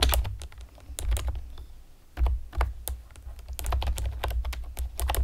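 Long painted nails and fingertips tap rapidly on the hollow keys of a pastel plastic typewriter-style computer keyboard with round retro keycaps. The result is a stream of short, bright plastic clicks over a steady low hum, with brief pauses between bursts.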